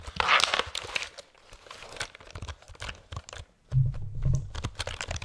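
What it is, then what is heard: Plastic computer keyboard. A black plastic computer keyboard is held vertically beside the microphone while fingertips tap and press its keys quickly. The result is a rapid run of dry, clicky taps with a bright, crinkly texture, loudest in a burst at the start. Heavier presses near the end add deeper, thumpy low tones.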